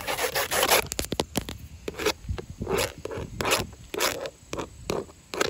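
Long orange and yellow acrylic nails tap and scratch along grey wood-grain textured vinyl siding panels on an outside wall, thin hollow-backed plastic. Quick, sharp clicks mix with bursts of bright, raspy scraping that rise and fall. The result is an irregular, crackly run of taps and rubs over the hollow plastic.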